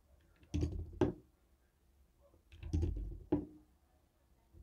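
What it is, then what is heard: Plastic TV remote control. A jade stone face roller taps a white and black hollow plastic TV remote control. Twice, a short rattling burst ends in a sharper, hollow tap with a mid-pitched knock and a quick decay, followed by quiet.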